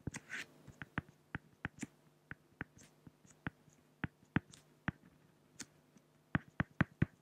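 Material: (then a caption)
Acrylic. A pen makes hatching strokes on a flat, solid sheet of acrylic glass (plexiglass), producing a quiet series of 19 short, sharp ticks. Each tick is a dry, bright click that dies away almost instantly. A steady low hum runs underneath, and the ticks cluster more quickly toward the end.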